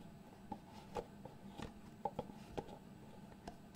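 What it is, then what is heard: Cardboard box lid tapped. A small white cardboard product box with a fitted lid is held in both hands while fingertips slide and tap the lid against the box base. About nine soft, hollow, short taps ring near 800 Hz over quiet sliding and a low, steady hum.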